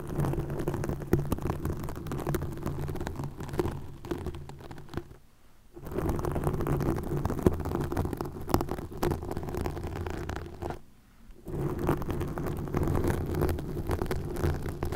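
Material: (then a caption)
Plastic. Nails scratch green plastic mesh netting stretched over a microphone, at its sides. The result is a dense, continuous, low, rumbling crackle with a steady hum-like tone, broken by two short near-silent pauses about five and eleven seconds in.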